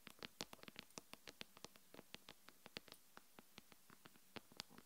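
Long pink-and-yellow nails tap quickly on the glass front of a solid iPhone-style smartphone lying face up on a wooden table. About 28 short, crisp clicks come in an uneven rhythm, each bright and ticking with almost no ring. Faint low thumps sit beneath the taps.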